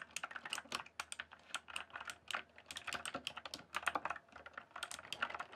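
Dense fingertip typing on a rainbow-backlit mechanical keyboard with plastic keycaps produces a rapid, uneven stream of short, dry clicks and clacks. Each keystroke is bright and crisp with almost no ring, centered in the upper mids around 1.5 kHz, with very little low end.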